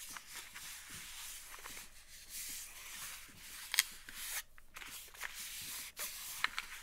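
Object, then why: Small cardboard game box. Long nails tap and scratch quickly on a small printed cardboard game box held upright in both hands, likely holding dice. A soft, bright, papery scratching runs throughout, broken by a few short, sharp taps with almost no ring.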